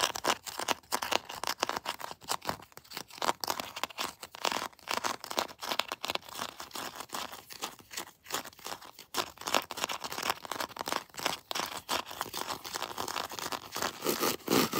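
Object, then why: Plastic action figure. Long blue nails scratch and tap across the textured plastic torso and arm armor of a plastic Predator action figure, close up. The result is a dense, dry stream of crackly scratching and quick taps, bright and thin with almost no low end and no ring after each stroke.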